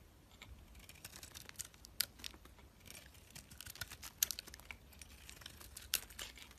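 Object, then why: Bar of soap. A utility-knife blade shaves the layers off a solid, palm-sized rectangular soap bar with a green marbled outer layer over a white core, held in the hand. Soft, dry, bright scraping and crackling runs throughout, broken by a few sharper crisp snaps as pieces cut away.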